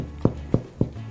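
The bottom of a golden-brown sourdough loaf, just lifted from its pan after 45 minutes of baking, is tapped four times, giving short, hollow, low thumps with almost no ring. The hollow sound shows enough moisture has evaporated, so the bread is done.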